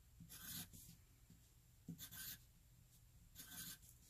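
A wooden graphite pencil, held at the fingertips, writes cursive letter e's on a flat white paper sheet resting on a hard surface. Three separate bursts of bright, dry scratching rise above a quiet low background, each stroke sounding like a short rasp of graphite across the paper.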